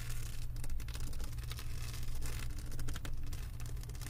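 Long acrylic nails tap and scratch across a flat diamond painting canvas with a plastic resin-drill surface, resting on a wooden table, sometimes with one hand. Quick, dry clicks and gritty scratching crackle over a steady low hum that carries most of the energy.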